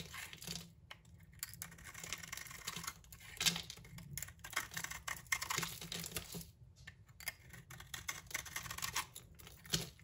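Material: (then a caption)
Soap. A utility knife blade scrapes across the surface of a solid green bar of soap held in the hand, flaking off chips. The result is a steady run of bright, crisp scraping and crackling with short, dry strokes and brief quiet pauses between them.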